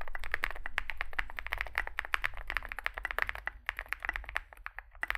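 Two hands type rapidly with their fingertips on a Zoom65 65% mechanical keyboard resting on a desk mat; it has a dark case, likely aluminum, white and grey SA-profile plastic keycaps and lubed switches. Quick, dry clacky key taps with a bright edge follow one another with no ring, over a steady low rumble.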